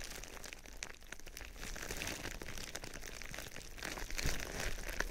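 A sheet of thin, foil-lined silver plastic bubble wrap with hollow air cells, draped over a binaural microphone, is rubbed and crinkled with fingertips and nails. It makes a steady, dense crinkling and rustling with bright, irregular crackles over a low rumble, growing a little louder in the last second.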